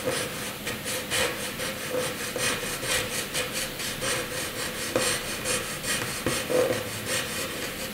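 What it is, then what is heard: Pencil scribbling on paper. A graphite pencil scribbles a zigzag line across a flat white drawing paper sheet, giving a steady dry scratching and rasping with quick back-and-forth strokes. The sound is bright and hissy, with a faint steady tone near 500 Hz under the strokes.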